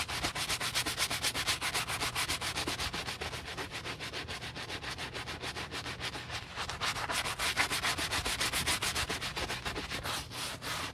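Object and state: Leather boot being brush-scrubbed.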